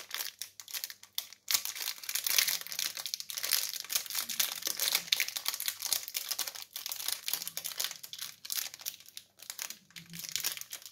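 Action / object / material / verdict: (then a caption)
scrape / chocolate bar in metallized plastic wrapper / plastic film / none. A single Jet's chocolate bar in a crinkly metallized plastic film wrapper, small and solid, is held in both hands while fingertips crinkle and tear the wrapper open. Dense, bright crinkling and crackling fill the clip in rapid bursts, with a faint low hum underneath.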